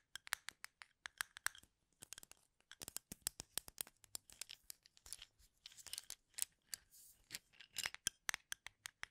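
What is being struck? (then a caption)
Wooden toothpicks in a plastic cup. Fingernails scratch repeatedly across the tips of wooden toothpicks packed in a full plastic cup held sideways. Dozens of quiet, dry, bright clicks and scratchy rasps follow in quick irregular bursts, each stopping instantly with no ring.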